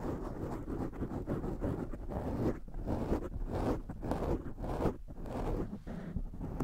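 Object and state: Foam microphone windscreen being scratched.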